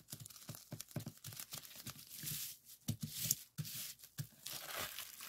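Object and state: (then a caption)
Plastic bubble wrap being popped. Fingertips press and pop the air bubbles on a clear plastic bubble wrap strip lying on a table. The result is a rapid run of sharp, crackling pops with bright, hissy crinkling between them, each snap dying away almost at once.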